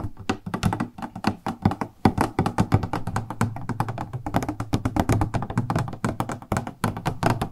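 A transparent plastic cosmetic product box with purple edges and a printed label is held in the hands and tapped with long nails. The result is a rapid, uneven stream of short, dull tapping and clicking sounds with a low, hollow body and very little ring.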